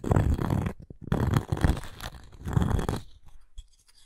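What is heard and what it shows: Long nails scratch the cork face and edge of a round cork coaster with a wooden rim, handled up close. The scratching comes in three dense, rough passes, heavy in low rumble with a dull, brushing texture. Brief soft ticks fall between them, and it trails off into faint light touches.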